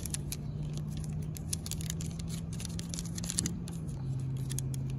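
Long pink nails tap and scratch along the ridges of a black coated steel expanded-metal picnic bench in close-up. Quick, bright clicks and scrapes patter irregularly over a steady low hum that stays at an even, quiet level throughout.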